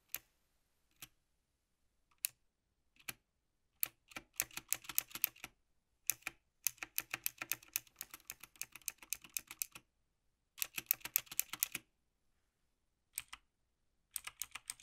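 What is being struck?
Plastic mechanical keyboard keys.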